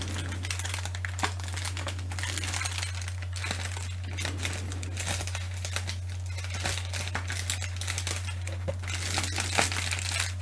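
Long manicured nails and fingertips scratch and crinkle the surface of a large sheet of clear plastic bubble wrap with air-filled bubbles. The result is a dense, bright crinkling and scratching with many small crisp ticks, over a steady low hum throughout.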